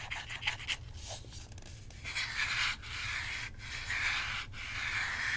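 Long fingernails rub and scratch across the top surface of a hand-sized, hollow plastic Nintendo Switch Joy-Con controller with red and blue sides, set in a grip and held in the other hand. Soft, bright, rasping strokes sweep back and forth, with a hiss centered around 2 kHz and brief gaps between passes, over a faint steady low hum.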